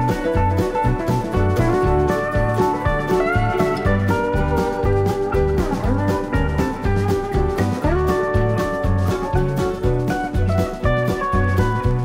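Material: Nothing is struck.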